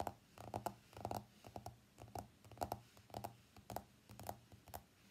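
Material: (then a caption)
Glass, steel. An iPhone X with a glass body and stainless steel frame is tapped by fingernails on its screen, steel edge and back glass. The result is a series of quick, clicky taps with a light pitched ring and very short decay, arriving in loose, irregular clusters.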